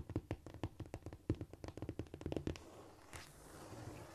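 Long painted nails tap and scratch with both hands on a flat, solid cork floor. A quick run of roughly twenty dull, low, short taps fills the first two and a half seconds, then gives way to a softer, continuous scratching hiss until the end.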